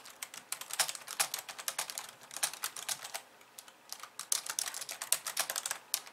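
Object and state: Plastic computer keyboard.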